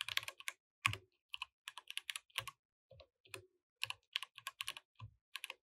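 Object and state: Mechanical keyboard with plastic keycaps.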